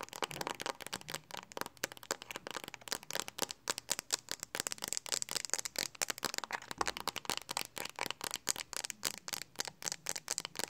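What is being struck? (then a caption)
Hard plastic phone case. Long acrylic nails tap and scratch quickly on the flat back of a handheld smartphone in a pink hard plastic Speck case. The result is a dense stream of many sharp, dry, high-pitched clicks with light scratching between them and almost no low end.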